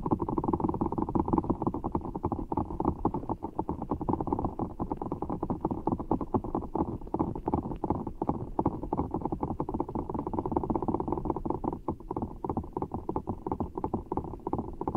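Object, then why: Rubber ball filled with water gel beads. Fingertips squeeze a large, full giant orbeez ball of blue water gel beads in a clear rubber skin, held over the mic. A dense, continuous stream of soft, wet, squishy crackles and pops sits in the low-mids and holds steady for the whole clip. There are no bright highs.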